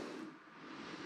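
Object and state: Nothing is struck.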